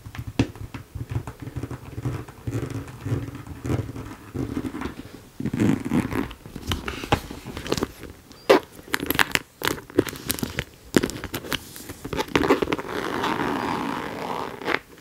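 A hollow, medium pink ombré faux leather flap bag with a white panel is held up and tapped and scratched with long nails. Sharp, dry taps and clicks are heard over soft scratching and rustling. Near the end comes a longer, steadier scraping sound.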